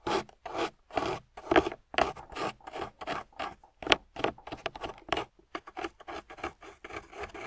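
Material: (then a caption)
Clay. A metal loop carving tool scrapes through a solid, water-soaked grey clay block in quick, irregular strokes, about two per second. Each stroke makes a short, rough, rasping scrape with a mid-range grainy tone and some bright texture, ending with almost no ring.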